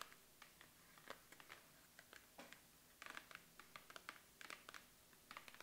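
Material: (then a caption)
Cardboard. Long acrylic nails tap and scratch on the sides and top of a printed Make Up For Ever Studio Case retail box, a medium-size, hollow cardboard box held in the hands. Quiet, dry, bright clicks come in an irregular run, with faint scratchy rustling between them. Each tap dies away almost at once.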